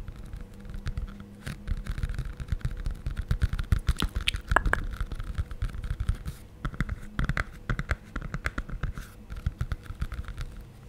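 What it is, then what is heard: Hardcover picture book. A closed, medium-sized glossy hardcover children's cardboard picture book is held upright while fingertips and nails tap and scratch its cover. The result is a dense run of short, dry taps and scratchy scrapes with almost no ring. The sound is mostly low thuds with a faint brighter scratch on top.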